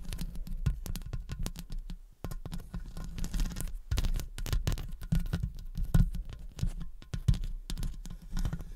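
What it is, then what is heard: Metal microphone mesh grille tapped with nails. Long acrylic nail tips tap and scratch the top and sides of the hollow metal mesh head of a studio condenser microphone. Rapid, irregular taps land as deep, boomy thumps that die away almost instantly, mixed with brief bright scratchy clicks. The pattering continues without a break for the whole clip.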